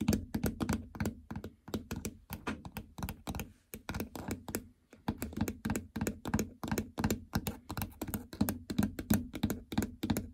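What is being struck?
Plastic treadmill console with membrane buttons.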